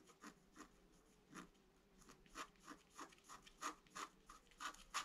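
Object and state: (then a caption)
Scratch-art card being scratched. A thin wooden stylus, held in the fingertips, scratches a flat A4-size scratch-art sheet (black coating over colored foil paper) lying on a white table and held down by the other hand. About ten short, dry, quiet scratching strokes come at an irregular pace, each a bright, papery rasp centered near 1 kHz with high hiss above and almost no low end.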